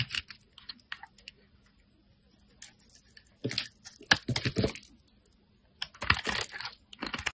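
A solid lavender rectangular bar of soap held in the hand is shaved by a metal craft blade, cutting thin curling slices and scraping its surface. Short, crisp, bright scratchy crunches come in quick bursts with quiet pauses between, denser and louder in the middle and near the end.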